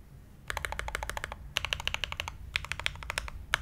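Both hands type continuously with their fingertips on an SG81M mechanical keyboard with Everglide Aqua King switches, blue ABS keycaps and a brass plate. Rapid, bright, clacky keystrokes come in three quick bursts with short pauses between them, each click dying away almost at once. A faint low hum sits underneath.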